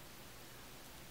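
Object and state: Nothing is struck.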